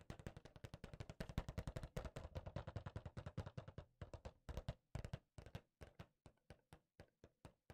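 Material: Cardboard.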